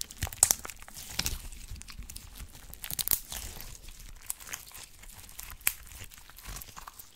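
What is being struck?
Glitter slime with small plastic charms.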